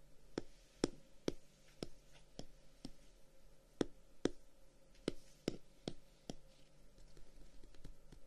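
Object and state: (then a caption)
Closed wooden folding fan, solid guard. Fingertips and short nails tap and scratch the dark brown wooden guard, with a pale edge, of a solid, closed wooden folding fan held in the hand. About a dozen quiet, sharp, dry clicks come at an uneven pace, with no ring after each. Soft, faint scratching fills the gaps between them.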